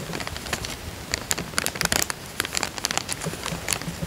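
Fingertips press and crinkle a small, thin, clear printed plastic bank coin bag, empty and lying flat on a ribbed fabric couch. Quick, bright crackling crinkles pop out irregularly over a soft, steady rustle, each snap dying away almost instantly.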